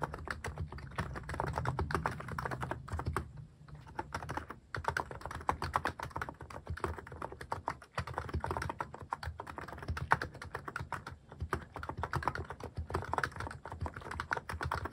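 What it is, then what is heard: Mechanical keyboard with plastic keycaps. Fast fingertip typing on a mechanical keyboard fitted with plastic cat-shaped keycaps produces a dense, continuous stream of short, dry clicks and clacks. The sound has a low thock underneath and a mid-range clack on top. A brief lull in the typing comes around the third and fourth seconds.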